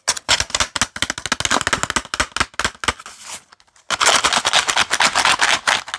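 A small printed cardboard box filled with paper clips is tapped with fingertips and nails and handled, giving a quick run of sharp, bright clicks and taps with almost no low end. Near the middle the tapping gives way to a softer rustle and a brief silence. A denser, louder burst of scratchy tapping and rattling then follows.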